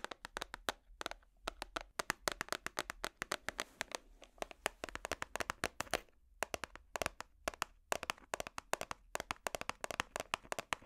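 A small, hollow, clear plastic organizer box with compartments holding small colorful items is tapped and scratched with metal finger picks held close to the microphone. Rapid, sharp, bright clicks come in quick irregular bursts with brief pauses, each tap dying away almost instantly over a faint low hum.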